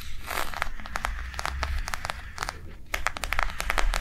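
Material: Plastic.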